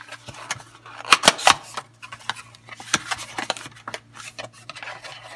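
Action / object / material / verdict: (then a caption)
tap / paperboard soap box with a bar of soap inside / paperboard / none. A small, closed pink and black patterned Coastal bar soap box made of thin printed paperboard, with a bar of soap inside, is held in both hands, tapped and scratched with long painted fingernails, then pressed flat against a marble table. Dry, bright papery taps and scratchy rubs sound throughout, with three louder crisp taps close together early on, while metal rings on the fingers may click faintly. Each sound is short and dies out almost at once.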